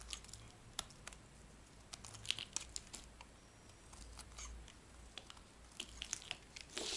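A metal blade scrapes a dry, white, rectangular solid bar of soap held in the palm. The sound is quiet, dry, and bright, with crisp scratchy crackles and sharp little clicks that stop instantly, set over a faint low hum.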